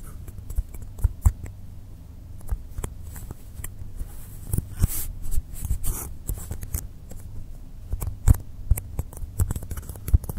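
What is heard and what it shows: Fingertips and nails tap and scratch the top and sides of a long, solid, rectangular blue polystyrene foam block lying on a dark cloth table. Many short, dry taps, with the loudest peaks standing out, mix with soft scratching across the clip, heavy in low thuds and with little high-end ring.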